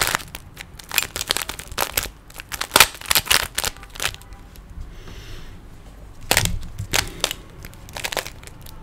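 Fingers twist the layers of a small, solid plastic 3x3 Rubik's cube, making rapid bursts of bright, dry plastic clicks and clatters. After a quiet stretch of faint hiss midway, a fresh flurry of sharp clicking follows.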